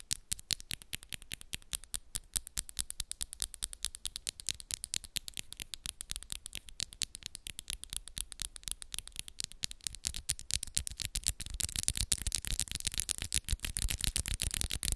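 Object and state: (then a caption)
Acrylic nails tapping. Long coffin-shaped acrylic press-on nails, pink with black moon designs, on both hands tap and scratch against each other quickly with the fingers interlaced. The result is a rapid, continuous stream of dry, bright clicks with almost no ring. Around the last few seconds it turns louder and denser, with more scratchy texture.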